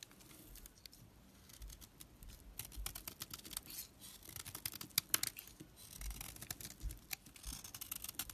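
A utility knife blade scrapes across a solid, opaque pink household soap bar held in the hand, shaving off crumbly flakes. The sound is quiet, dense, bright scratching made of many short crackles and clicks, with a louder burst of scraping about midway through.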